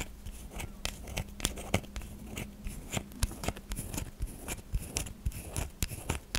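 A solid white bar of soft soap, gripped in both hands, is dug into and scratched by long fingernails. Many short, crisp scraping and crunching clicks come at an irregular pace over a faint low steady hum.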